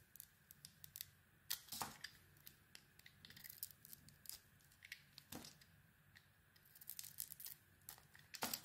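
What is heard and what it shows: A solid, hand-sized bar of soap with a glossy black outer layer and a cream interior is held in the palm and shaved with a small metal blade, peeling off thin curls. Quiet, crisp scraping and crackling cuts come in short bursts, with a few louder, bright snaps standing out over a near-silent background.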